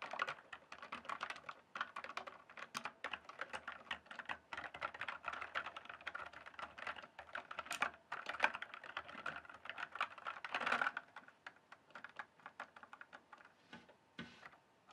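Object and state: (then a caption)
Plastic mechanical keyboard. A full-size RGB-backlit plastic mechanical computer keyboard, with hollow keys on a solid base, is typed and tapped with fingertips. It makes a rapid, steady stream of light, clicky plastic keystrokes with almost no low end, centered in the midrange. A few louder taps stand out around 8 and 11 seconds, and the typing thins into sparser hits near the end.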